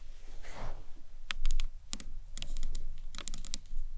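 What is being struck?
Acrylic box clutch.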